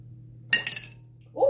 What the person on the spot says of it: you could hear that basically just knock on the bottom